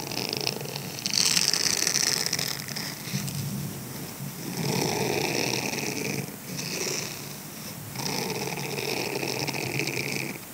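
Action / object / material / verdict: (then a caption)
scrape / silicone scrubber sponge / silicone / none. Fingertips scratch and rub the bristled face of a grey silicone scrubber sponge held in the hand. The result is a dense, bright, crackly rustle that swells and eases in several long passes, with short dips in between.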